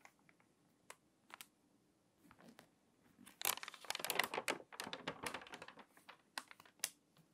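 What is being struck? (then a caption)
Glossy paper magazine. Long-nailed fingers turn the pages of an open glossy paper magazine lying flat on a table, then press them flat and crease the crinkly paper. Scattered light ticks and taps build into a dense, bright crinkling burst in the middle before thinning out to sharp, quick crackles again.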